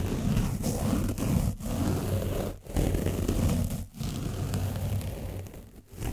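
A foam brush is rubbed over the front and back of an orange foam microphone windscreen coated with dried paint. It makes a dense, low, boomy scratching and rustling, steady and loud, broken by a few brief pauses between strokes.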